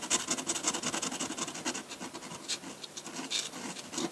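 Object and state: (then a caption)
Paper being scratched by a pen nib. A metal dip pen nib scratches dense hatching onto a large flat sheet of white drawing paper. Rapid, uneven strokes, nearly three per second, make a bright, dry scratching with almost no low end. Each stroke stops short, with no ring after it.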